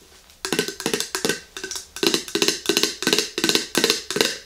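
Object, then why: Glass jar with metal lid. Long green nails tap the metal lid and the glass body of an empty, medium-sized clear glass mason jar with a handle. Quick, bright taps come in short, slightly uneven bursts, each with a brief hollow ring around 465 Hz that fades fast.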